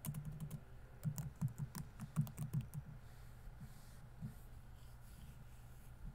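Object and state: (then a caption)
Plastic laptop keyboard. Fingertips type on the plastic keys of a laptop keyboard, producing a quick, irregular run of soft, muted clicks with brief bright edges over the first three seconds. The typing then stops, leaving near silence broken by one more light tap.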